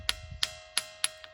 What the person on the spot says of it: కొడితే ఒక ఒక విధంగా శబ్దం వస్తుంది అట్లనే ఈ రాయిని పెడితే ఒక విధంగా శబ్దం వస్తుంది